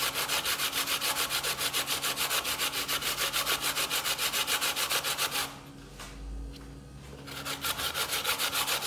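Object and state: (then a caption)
Coconut flesh grated on a metal grater. A hand grates a piece of solid fresh coconut flesh on a stainless steel box grater, with the shreds collecting on a bamboo board. Fast, steady, bright rasping strokes repeat at a regular rhythm, pause briefly near the middle with only a soft low rustle, then resume.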